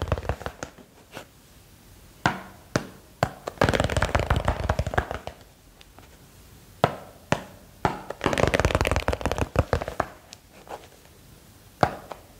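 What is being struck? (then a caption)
Small box. A small box is tapped quickly for ASMR, giving sharp, dry taps that die out almost at once. The taps come singly and in dense rapid bursts around 3.5–5 seconds and 8–9.5 seconds, with a mid-range knock and very little high ring.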